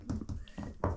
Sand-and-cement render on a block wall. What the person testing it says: If it sounds hollow, you need to take it off.